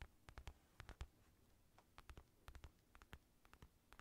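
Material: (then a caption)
Synthetic leather. Fingertips tap and scratch the outer leather of a black, padded synthetic leather boxing glove that is hollow with a red lining. About twenty quiet, dull taps come in irregular bursts, each a low thump with a faint, brief bright click that dies away almost at once. Soft scratching fills the gaps.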